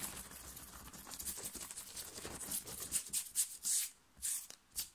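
Fingers scratch and crumple a thin, worn, light blue cotton t-shirt on the chest, fast and aggressively. A steady, bright rustling hiss builds into sharper, louder scratching bursts separated by short silences near the end.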